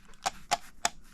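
A plastic earcup on a Moondrop Joker headphone clacks against its frame three times, each a short, sharp click with a bright, dry attack around 700 Hz that dies away almost at once. The clack is an unwanted flaw that a little foam would have dampened.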